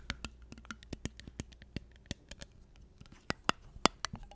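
Long nails scratch and tap on a small, hollow, clear glass mason jar with a silver metal lid, held upside down and struck on both the glass and the lid. Short, sharp clicks and taps with quick decay arrive at an irregular pace over soft scratching, with a few louder, brighter taps near the end.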